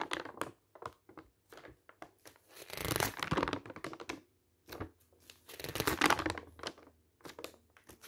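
Fingertips turn the pages of a bound glossy paper travel brochure, with map and photo pages, one by one as it lies open on a table. Short crisp crinkles and flutters alternate with longer rustling swells of crumpling paper around the third and sixth seconds. The sound is dry and bright with very little ring.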